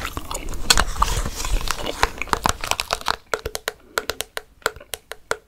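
Long fake nails scratch and tap a hollow, translucent orange plastic jack-o'-lantern candy bucket with candy inside. For the first few seconds the scratching makes a dense, crinkly rustle with some hollow knocks. Then it gives way to a quick run of separate, crisp plastic taps with short, bright clicks.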